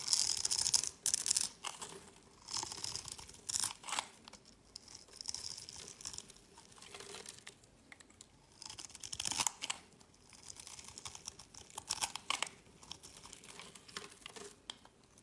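A metal utility-knife blade scrapes a pre-scored cube pattern off a solid, palm-sized mint-green bar of soap held in the hand, and small crumbly cubes fall onto a mat. The result is bursts of bright, dry scraping and crisp crumbling at an irregular pace, with almost no low end and short pauses between strokes.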